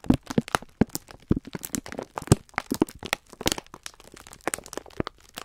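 A full clear plastic-film pack of green-striped sponge scourers is squeezed with both hands while the thumbs rub the crinkly film. Dense, rapid crackling and crunching crinkles come in quick irregular bursts, with some soft low thumps beneath the bright rustle.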